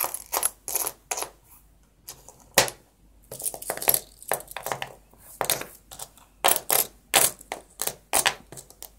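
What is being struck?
Small copper-plated metal coins.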